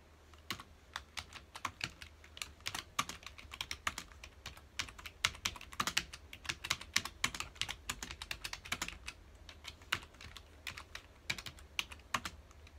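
Fingertips of both hands rapidly press the keys of a full-size black plastic computer keyboard resting on a dark desk. A quick, uneven stream of short, bright typing taps and clicks fills the whole clip, each tap dying away almost instantly. A faint low hum runs steadily underneath.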